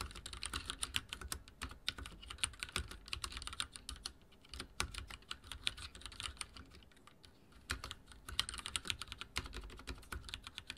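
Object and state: Plastic mechanical keyboard.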